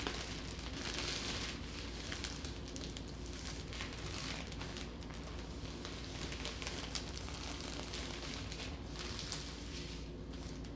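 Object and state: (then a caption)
Loaf of bread in a plastic bag. A hand with long nails grips a full, soft loaf of sliced multigrain bread in a thin plastic bread bag, squeezing it with the fingertips and lifting it. The bag gives a continuous, bright crinkling and crackling, layered over a steady low hum.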